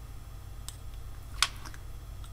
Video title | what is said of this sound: Head Torch Shootout | tapping that on my teeth that is glass